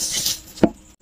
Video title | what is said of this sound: #FAKE ALERT #ONEOPTIJUICE #drink #FAKE CHECK TAYO MAG INGAT AT BAKA PEKE NA PALA INIINOM NYO. | Ito yung original, so fine yung ano niya, yung tunog niya. Hindi siya ganun kaingay